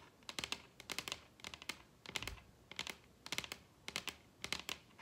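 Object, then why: Wooden table top. Long red nails tap rapidly on a large, solid wooden table top. Quick bursts of crisp, bright clicks arrive in uneven clusters with short pauses between. Each tap stops almost instantly, with very little low end.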